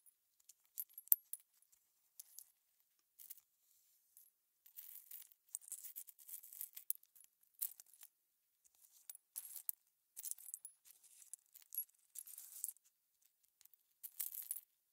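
Gloved fingertips pick up small hollow aluminum cover button blanks, metal button shells with shank backs, and drop them back onto the pile. The result is quiet, bright rattling and clinking in scattered clusters, with very short ring and no low end.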